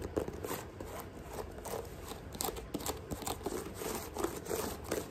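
Long nails tap and scratch quickly across the chunky tread blocks of a thick white rubber sneaker sole. The result is a fast, uneven run of dry, short clicks mixed with crinkly, bright scraping. Each tap dies away almost at once.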